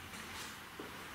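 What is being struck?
Nothing is struck.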